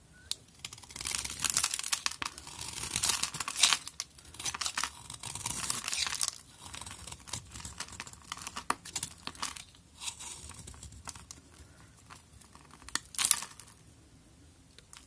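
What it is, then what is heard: Bar of soap being scraped. A utility knife blade scrapes powdery flakes off a solid pink bar of soap with a Tiffany logo, held in hand. Dry, bright scraping and crumbling strokes come in bursts, some louder and longer, with quieter crisp ticks between them. The sound is mostly high hiss with almost no low end.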